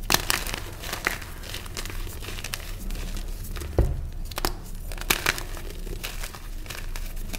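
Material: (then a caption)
Magnesium carbonate. Small, solid purple reformed gym chalk (magnesium carbonate) chunks in a tray of loose chalk powder are squeezed and crumbled between bare fingertips and thumbs. The result is a steady dry crinkling and gritty crumbling, broken by sharp, bright crunching snaps, the strongest near the middle of the clip. A low rumble of handling runs underneath throughout.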